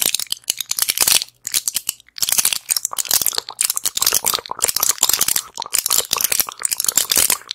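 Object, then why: Plastic and foil pill blister pack. A small flat pill blister pack with plastic bubbles and a foil back is held in both hands and tapped and scratched with long acrylic nails. The result is a dense run of bright, crinkly clicks and scratchy crackles that come in quick bursts, with brief pauses between them and almost no low end.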